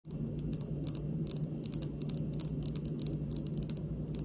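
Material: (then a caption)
Granite. The tips of long pink acrylic nails on both hands tap lightly across a large, solid, polished, speckled granite stone kitchen countertop. The result is a steady stream of short, bright, dry clicks with almost no ring, over a constant low hum and faint hiss.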